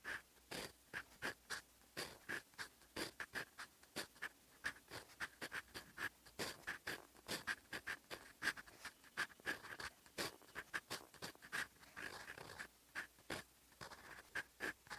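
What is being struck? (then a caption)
Steel pen nib on writing paper. A steel fountain pen nib scratches across a sheet of lined writing paper, writing in olive ink. Quiet, rapid scratchy strokes come in short bursts, with a dry, bright texture and a faint tonal squeak around 1.6 kHz. Each stroke stops almost at once, with no ring.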